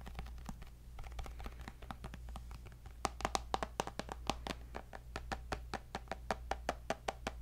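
A tablet's glass screen with a white bezel, held in a black case, is tapped rapidly with fingertips and nails. The result is a steady stream of short, dry clicks with a slight ringing tone near 780 Hz, over a constant low hum. The taps grow sharper and louder partway through.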